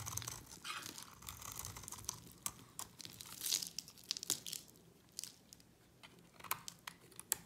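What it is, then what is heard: Dry bar soap. A utility knife blade scrapes a solid, dry purple-and-white bar of soap with a yellow coating, held in the hand. Crisp, crunchy scraping and crumbling come in bursts, with many sharp, bright clicks and a dry hiss between strokes. The sound is high and airy, with almost no low end.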